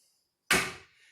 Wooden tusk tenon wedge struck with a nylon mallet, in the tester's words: you tap it in, and you can hear it's got like kind of a dull thud